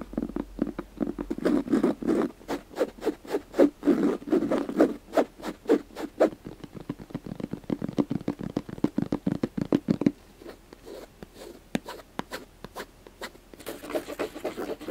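Fingertips and nails rapidly scratch and tap the fabric surface of a gray, fabric-covered, hollow hard-shell glasses case with a zipper. Dense, uneven bursts of dry scratching mix with quick, short taps that have a hollow midrange tone. The sound grows sparser and quieter after about ten seconds, then ends with a brighter, continuous scratching.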